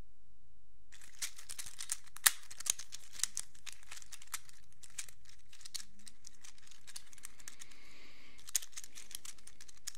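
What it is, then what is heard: Plastic infinity cube. A small black plastic fidget infinity cube has its hinged hollow blocks flipped open and shut with fingertips. The result is quiet, irregular, bright clicks and crinkly snaps after about a second of silence, with one sharper click near the start and another late in the clip.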